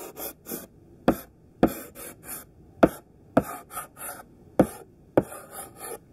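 A thick pink sidewalk chalk stick, gripped in the hand, draws overlapping squares on a flat black chalkboard with rough scratching strokes. Six sharp taps of the chalk striking the board stand out among softer, bright, gritty scraping bursts in an uneven rhythm.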